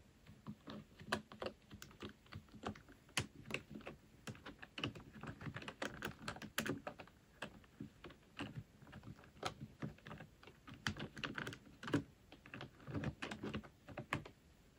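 A full-size black plastic computer keyboard is typed on with fingertips and nails, the left hand on the main keys and the right hand on the number pad. The result is a steady, uneven stream of short, dry plastic clicks and taps with a low thock body, occasional louder keystrokes, and quick decay.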